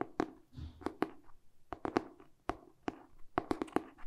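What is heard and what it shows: Short painted fingernails tap quickly on the glossy cardboard cover of a solid, medium-sized hardcover paper book tilted in the hands. About eleven short, dry, hollow taps land with a mid-low knock around 340 Hz and die away almost instantly, with faint rustling between them.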